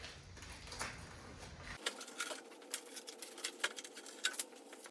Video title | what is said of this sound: Porsche 911 windshield replacement windscreen | listen how crispy this thing is